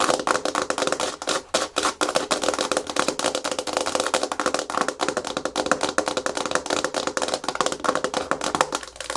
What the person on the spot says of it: Fast Aggressive Natural Nail Tapping & Scratching Hard Plastic Surface (No Talking)